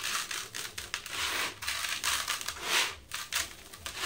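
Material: Sand-cement.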